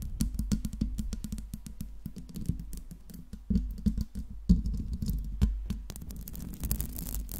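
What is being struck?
Metal mesh microphone grille.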